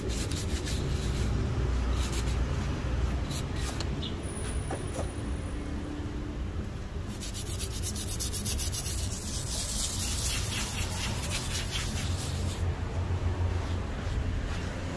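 A black leather lace-up ankle shoe, worn on a foot and resting on a shoeshine stand, is rubbed and wiped by hand with a pink cloth. Soft, steady scuffing and brushing strokes repeat over a constant low rumble, and bright swishes grow stronger toward the middle of the clip.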